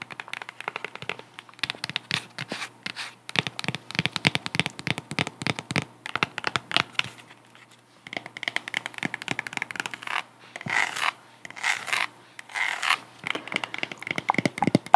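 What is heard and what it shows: A white-strap sandal with a solid cork wedge is held close to the mic while long nails tap and scratch the cork wedge and the straps. Rapid, dry clicking taps come in dense bursts with short brushy scratches between them. A brief pause near the middle is followed by longer, brighter scraping strokes.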